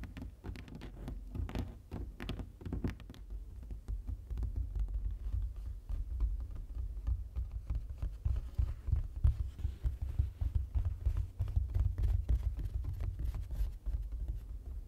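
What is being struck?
Printed foam board sign panel.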